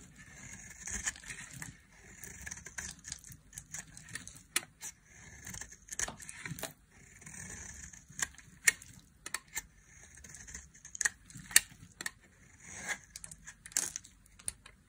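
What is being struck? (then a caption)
Olive oil soap bar. A dry, solid olive-green olive oil soap bar is held in the hand and carved with a metal blade into long flaky shavings. Bright, crackly scraping strokes come in bursts of a few seconds, punctuated by sharp clicks and snaps as the flakes break away.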